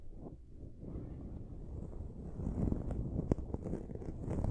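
Long acrylic nails scratch and rub the dark foam windscreen on a silver USB microphone. The result is a muffled, low, rumbling scratching that grows busier and louder in the second half, with sharper crackly scrapes cutting through.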